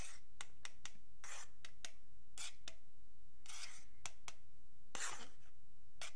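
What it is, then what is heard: Wooden ruler scratched with a metal pick. A thin metal pick or needle scratches along the top edge of a long, flat, solid wooden yardstick while fingertips steady the ruler. The result is a series of short, bright, raspy scratch strokes, some quick and others longer drawn-out rubs, over a quiet low background.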